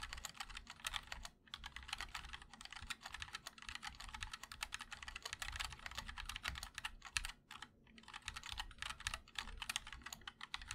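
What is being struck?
Mechanical keyboard, ABS plastic keycaps, aluminum case.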